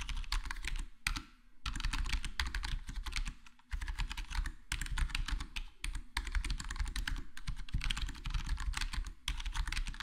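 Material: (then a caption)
Plastic. Fingertips of both hands type steadily on a full-size black plastic HyperX Alloy Core gaming keyboard with square plastic keycaps and a foam-modded, foam-dampened case. The result is a rapid, continuous run of short, muffled key taps: a deep thumpy body under crisp, bright clicks. Brief pauses fall near 1, 3.7 and 9.2 seconds.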